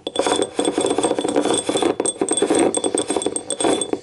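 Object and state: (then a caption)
Ceramic cup. Long nails tap rapidly on the ribbed side and rim of a small, hollow, empty yellow ribbed ceramic cup. The result is a steady flurry of short, dry clinks centred around 400 Hz, with thin, bright ringing overtones above. Each tap dies away almost at once.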